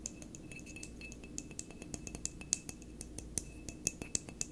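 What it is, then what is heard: Glass wine bottle. Fingertips and nails tap and scratch the neck and shoulder of a full, dark glass wine bottle held on its side on a table. Irregular, short, bright clicks and glassy ticks stand out over a soft, steady scratching and a low background hum.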